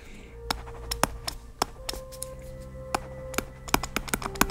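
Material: Plastic.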